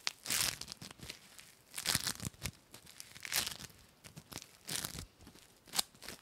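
A hand-sized, soft, sticky mass of foam bead slime (floam), packed with small yellow and blue polystyrene foam beads and spread over the fingers, is squeezed, pulled apart and pressed by fingertips with dark painted nails. It gives bright, crinkly, sticky crackles in irregular bursts of tearing and crunching snaps.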